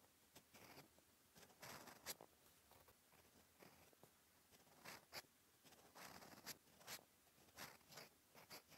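A steel fountain pen nib scratches handwriting strokes across a flat cream lined paper notebook page. Quiet, bright, scratchy bursts come in an irregular series, each short and dry with almost no low end.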